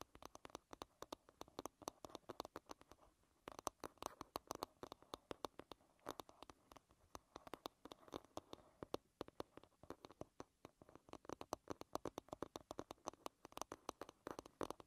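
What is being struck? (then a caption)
Wooden back of a hairbrush. Long nails tap and scratch the flat, smooth wooden back of an oval hairbrush lying bristles-down. The result is a quiet, rapid stream of sharp, dry clicks centred around 1 kHz that stop dead with no ring, broken by soft scratching between bursts.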